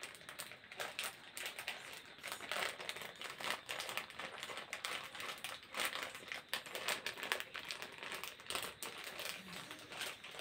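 A small printed plastic snack packet is crumpled and crinkled between the fingers of both hands close to the face. It gives a continuous bright, crackly rustle made of many quick, dense crinkles with no low-end body.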